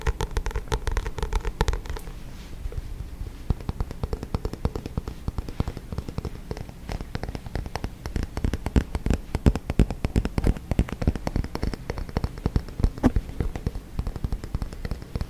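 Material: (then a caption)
Card. Fingernails tap and scratch the card cover and spine of a paperback book as it is turned between front cover and spine. A dense stream of quick, dry, low-heavy taps runs throughout, with a softer scratching texture at the start.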